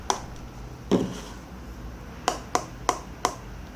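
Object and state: Thin plastic speaker housing.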